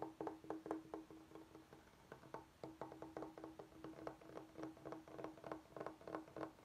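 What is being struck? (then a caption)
Bamboo cutting board. Fingertips and short nails tap and scratch the face of a large, flat, solid rectangular bamboo cutting board held upright on a wooden table. Quick, irregular dry wooden taps with a short, mid-pitched hollow ring come in clustered bursts, with soft scratching between them.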